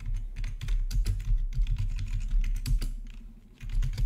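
Fingertips type steadily on the black plastic backlit keys of a plastic RGB membrane keyboard with a hollow body. The result is a continuous run of soft, dull taps with a heavy low-end thump and faint bright clicks that die away almost at once, with a brief lull near the end before typing picks up again.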